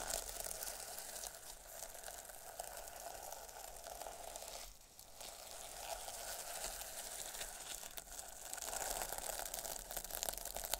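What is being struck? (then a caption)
Fabric covered in plastic sequins. A flat sheet of fabric covered in multicolour, iridescent plastic sequins lies on a surface and is scratched and brushed with long metallic nails and fingertips, flipping the sequins. The result is a dense, continuous, bright crinkling and rustling scratch that dips briefly at about the midpoint and grows slightly louder toward the end.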